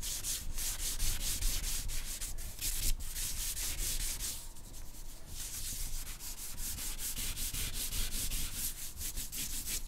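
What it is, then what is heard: Drawing paper rubbed with charcoal. A thick charcoal stick held in the fingertips is rubbed and scratched across a flat white drawing paper sheet in long drawing strokes throughout. The sound is a steady, bright, gritty scraping hiss that pulses with each stroke, easing briefly in the middle before picking back up.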